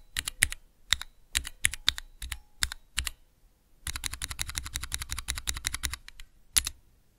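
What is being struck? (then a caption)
Clear plastic key switch tester. Fingertips press the keys of a small clear plastic 3x3 Cherry MX key switch tester. Scattered, sharp, bright clicks with a little low thock come first, then a short pause. A fast, rapid run of clacks follows, ending in one last crisp click, each dying away almost instantly.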